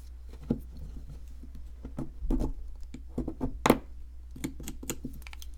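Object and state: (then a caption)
Plaster block being scraped and chipped. A small metal pick scrapes and chips at a palm-sized, solid white plaster excavation block with a ridged shell shape, held in one hand, with loose plaster crumbs around it. A series of light, short taps and scratchy scrapes stands out over a steady low hum, each click dying away almost instantly.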